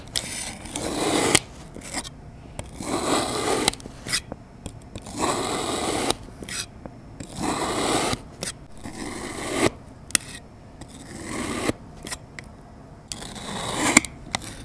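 A metal utility knife blade presses down through a solid lime-green kinetic sand mound that has already been sliced into layers, cutting it again. Each cut is a soft, grainy, hissing scrape that swells in loudness and ends in a small sharp tick, with quiet pauses between the passes.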